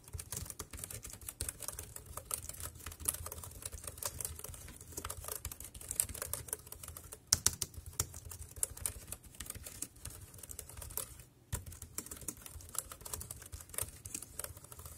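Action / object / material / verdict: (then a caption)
tap / plastic computer keyboard / plastic / none. Fingertips type steadily on the round keys of a dark grey plastic wireless keyboard, making a rapid stream of crisp, bright clicks over a soft low thump. Each click dies away almost at once, and the typing pauses briefly near the end before carrying on.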